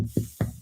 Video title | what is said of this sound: Hearth Cooking Part 2 | Because you know by banging on it like that? Yeah, it's hollow.